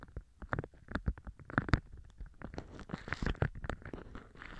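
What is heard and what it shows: Hands with red polished nails hold a large, thin, pale-green beeswax-coated cotton food wrap with a honeycomb print up in the air, formed into a stiff open tube, and squeeze and flex the waxed fabric. It gives a dense run of short, dry crinkly rustles and crackles with a muffled, low-heavy tone and no ring after each crackle.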